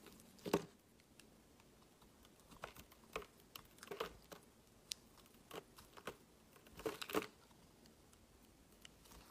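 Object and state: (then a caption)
Bar soap carved with a blade. A metal utility-knife blade carves chunks off a solid, palm-sized pink marbled bar of soap with an embossed logo, held in the hand. Quiet, crisp crunching and crinkly scraping cuts come in an irregular series, with louder bursts near the start, around four seconds, and around seven seconds. Each cut is short and dry, with faint scratching between them.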